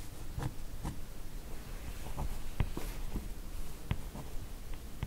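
Long nails trace and scratch along the drawn lines of a large, solid glossy-laminated cardboard hardcover comic album ("Lady S") lying flat, making a quiet, low, continuous rubbing scratch. Three sharp, brief taps stand out above the scratching.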